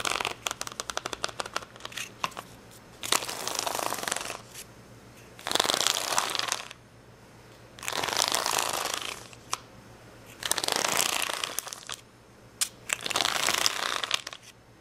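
Long fingernails scratch across the gem rows of an acrylic rhinestone sticker sheet with clear plastic backing, resting on a towel. A quick run of light, crisp clicks opens the clip, followed by five long, bright, hissing scratch passes separated by near silence, with almost no low end.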